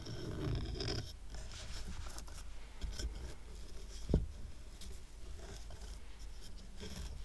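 Fingernails scratch the rough raw-wood underside of a twine-tied stack of square wooden coasters. The result is a quiet, dry, continuous scratching and rubbing texture with a low, dull body, a louder stretch in the first second and a brief sharper scrape just after four seconds.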